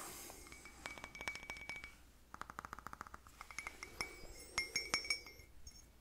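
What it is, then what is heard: Empty ceramic coffee cup. A small, plain white ceramic coffee cup with a handle, hollow and empty, is held in both hands and tapped with the fingertips and nails. It gives quick, clear, bright clinks with short ringing tones, in irregular bursts of many light taps with a few louder strikes near the end.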